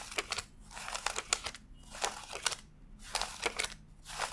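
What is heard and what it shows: A stack of thin US $100 paper bills lies fanned out on a desk while fingertips flick and rub the bills one by one as they are counted. The result is a string of crisp, bright papery crinkles and snaps in irregular bursts, separated by short quiet gaps.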